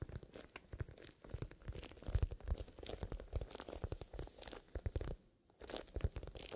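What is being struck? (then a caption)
Leather pencil case with zipper. Fingertips scratch and rub the side of a soft, hollow black pebbled-leather pencil case with a zipper. The sound is a quiet, dense run of crunchy, crinkling scratches with a low, hollow thump beneath them, pausing briefly before the rubbing resumes.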